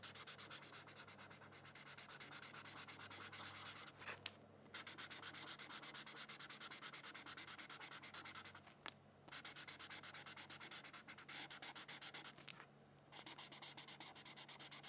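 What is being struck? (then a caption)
Felt-tip marker on a thin paper sheet. A felt-tip marker is scratched back and forth across a thin white paper coloring sheet while coloring. It makes a fast run of bright, dry, scratchy strokes with almost no low end, broken by three short pauses.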